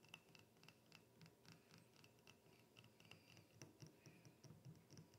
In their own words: 1 Minute ASMR - Glass Bottle Tapping and Shaking